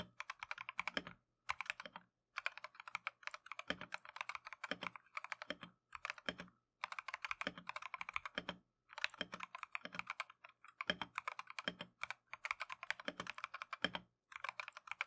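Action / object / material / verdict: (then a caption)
tap / plastic mechanical keyboard / plastic / none. Gloved fingertips type continuously on a plastic Keychron V1 mechanical keyboard with Tangerine switches and green/cream Matcha PBT keycaps. Quick, bright, short clacky taps come in rapid bursts separated by brief pauses, with almost no low end.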